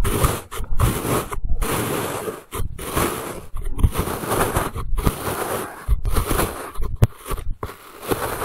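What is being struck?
Packed kinetic sand cut with a plastic knife.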